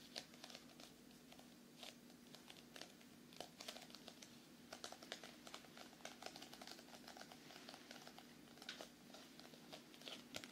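A solid paperback book with a glossy card cover is held close and tapped with fingernails. It makes quick, bright, dry taps like typing, with a faint crinkle over a quiet, steady low hum. Each tap stops almost at once.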